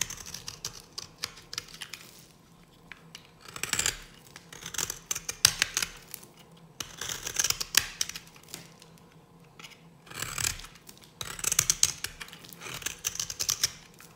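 A hand-held solid dry green bar of soap has flakes cut from a notch with a metal blade. The result is bursts of bright, crisp scraping and crackling cuts with quiet gaps between them.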